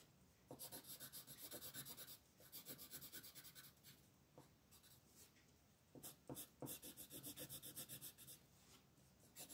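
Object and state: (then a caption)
Colored pencil rubbing on paper. A purple wooden colored pencil rubs steadily back and forth over a flat paper coloring book page lying on a table, while the other hand, with long nails, rests on the page. Quick, rhythmic, bright scratchy strokes come in bursts, separated by brief quieter pauses where only a soft paper rustle remains.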